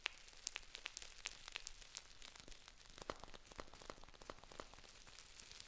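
A Dammann foil tea pouch with a paper label is crinkled and scratched with long nails. The result is a quiet, steady stream of bright, dry crackles and sharp little clicks with almost no ring, busiest and loudest at the start and thinning to softer rustling toward the end.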